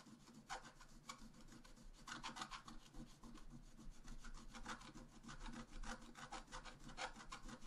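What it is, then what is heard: Scratch-art card being scratched. A wooden stylus scratches repeatedly across a flat, black-coated scratch-art paper page held down by one hand, working near the upper right of a tree design. Short, dry, raspy strokes with a bright edge come in quick bursts over a steady low rumble.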